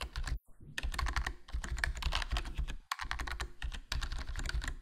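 Fingertips type continuously on a HyperX Alloy Core RGB plastic membrane gaming keyboard with a foam mod, a black plastic body, black plastic keycaps and a hollow case. Rapid, dull, thumpy keystrokes with short bright clicky edges run in dense bursts, broken by two brief pauses. Each tap dies away almost instantly.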